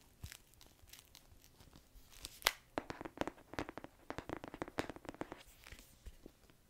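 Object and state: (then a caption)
Hardcover book. A solid illustrated hardcover book is held in both hands while fingernails tap and scratch across its cover and edges. Quiet, dry scratching gives way to a run of sharp, bright clicking taps that stop almost instantly, mixed with crinkly scraping.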